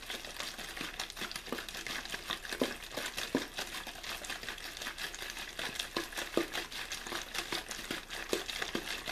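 An empty, hollow clear plastic water bottle with a blue label is quickly squeezed and crinkled in one hand. The result is a steady, dense stream of bright, crackling crinkles with frequent short snapping pops and almost no low end.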